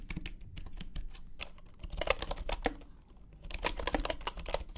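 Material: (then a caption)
Bamboo. Fingertips of both hands type steadily on a full-size bamboo wooden computer keyboard with wooden keycaps resting on a grey mat. The result is a dense run of short, dry, woody clicks with a low thump beneath and brighter clacks standing out, briefly easing near the middle before picking up again.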